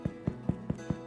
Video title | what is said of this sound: Baking Bread in a Cast Iron Dutch Oven | A good hollow sound, crispy crust.